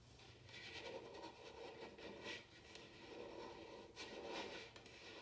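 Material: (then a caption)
Bamboo. Long nails scratch and tap on a large, hollow, upside-down bamboo wooden bowl. Steady, dry scraping swells and fades with a hollow woody mid tone, broken by about four sharp, bright taps that die away quickly.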